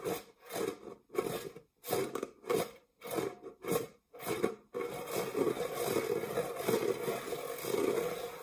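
Fingernails scratch the textured base of an empty, dark metal springform cake pan held upright. Eight separate rasping strokes come first, then a continuous, busier scratching with a gritty midrange around 450 Hz and a faint high hiss.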